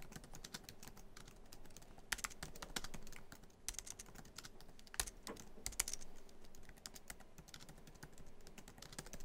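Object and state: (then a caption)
Laptop keyboard typing. Fingertips of both hands type quickly on a MacBook Pro keyboard, tapping many black plastic keys set in a hollow silver aluminum laptop body. The result is a fast, steady stream of short, dry, bright clicks and taps, with a few sharper, louder keystrokes standing out.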